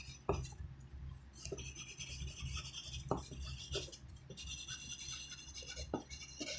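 A graphite pencil tip writes on a thin white sheet of writing paper lying flat on a wooden desk, giving a steady scratching rub. Bright, hissy strokes sit over a low background rumble, with a few sharper pencil-tap accents between them.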